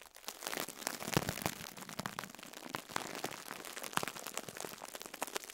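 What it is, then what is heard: Plastic-wrapped foam sponge. Fingertips squeeze and crumple a soft foam sponge in clear plastic wrap, crinkling the wrap. A steady stream of sharp, bright crackles and snaps fills the clip, with a few louder pops rising above the dense, dry rustle.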